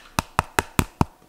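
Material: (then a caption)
Plastic. Five quick, dry taps on the plastic body of a pair of Redragon gaming headphones, each a short hollow knock that dies away almost instantly. The thin sound reveals cheap plastic construction.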